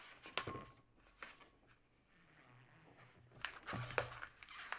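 Hands with long nails twist a hollow, yellow, inflated latex modelling balloon into segments, making it squeak and creak. Sharp, bright rubbery squeaks and crinkly creaks come in short bursts over a low hum, with a quiet stretch in the middle before a denser flurry of squeaks at the end.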